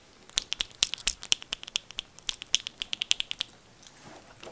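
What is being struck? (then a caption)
Plastic crankbait lure with internal knockers. A vintage 1970s Cotton Cordell Deep Big O plastic crankbait with molded lip and one or two loose knockers inside is shaken. It gives a rapid series of about 25 short, sharp clicking rattles, each ending almost instantly, with bright high-pitched clacks and little low end. The rattling stops near the end, leaving a quiet tail.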